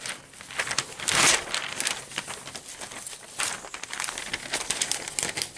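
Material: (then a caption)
Paper. Fingers grab and flip the thin pages of an open newsprint advertising section lying on a table, producing frequent bright crinkling and rustling. A louder crackling burst comes early, and the papery crinkles continue in quick, uneven bursts throughout.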